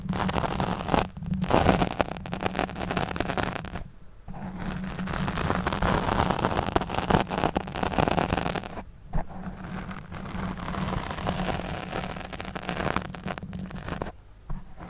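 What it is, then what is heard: Foam microphone windscreen being scratched. Long nails scratch and stroke a black foam windscreen over a studio microphone, making dense, close-up rustling and scraping with a steady low hum underneath. The scratching runs in bursts broken by short pauses, and the strokes sweep with a heavy low-end boom.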